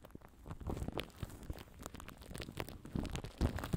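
Fingertips scratch and rub the top of plastic cling film wrapped tight around a microphone head. The result is a dense, quiet stream of crinkly scratches over heavy, low, muffled thumps and rumbles, with brief bright crackles.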